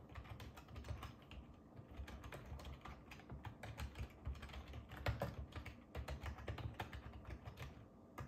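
Fingertips type steadily on a black ergonomic plastic computer keyboard with a hollow plastic housing, resting on a wooden table. The result is a quiet, continuous run of short, dry key clicks over a soft low thump, each tap fading almost instantly.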